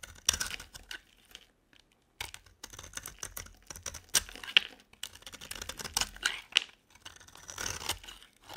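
A metal utility blade carves a solid rectangular bar of dry soap, coated in blue glitter with a yellow-tan inside, held in the hand. Bursts of crisp, bright scraping and crunchy crackling come in short cuts separated by brief pauses, with almost no low end.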